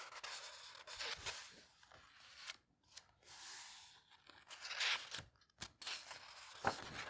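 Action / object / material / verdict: scrape / old paper book pages / paper / none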